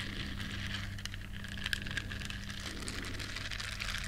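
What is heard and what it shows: Long nails scratch the bristles of a small, flat, solid yellow silicone duck-shaped scrubber. A soft, continuous scratchy crackle with bright ticks sits over a steady low hum, with a few sharper clicks partway through.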